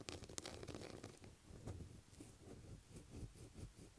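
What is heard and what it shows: Long black acrylic nails scratch a light blue solid bar of soap lying on a table. A few sharp nail clicks open the clip, then a quiet, continuous low scraping and rubbing follows in soft, uneven strokes.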